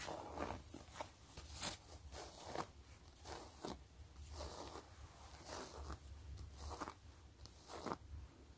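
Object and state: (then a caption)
Faux leather wallet being scratched and tapped. Long glitter acrylic nails scratch and tap across a flat, closed, long zip-around wallet of pebbled gray faux leather with stitched quilting. Soft, dry scratching rustles come in repeated bright bursts, broken by light taps over a faint low hum.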